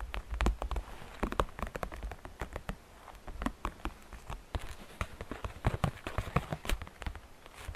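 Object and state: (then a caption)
Plastic basket tapped with fingernails. Fingernails tap the faceted walls and rim of a hollow, transparent green glitter plastic basket in a quick, irregular run of light taps. Each tap is a short, dry click with little ring, carrying a soft low thud under faint bright edges.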